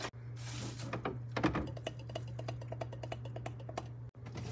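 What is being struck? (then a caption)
Refrigerator, metal and plastic panels. Fingers tap rapidly and lightly on a refrigerator, making a run of quick, dull taps. A steady low hum runs underneath, and a brief hiss sounds at the start.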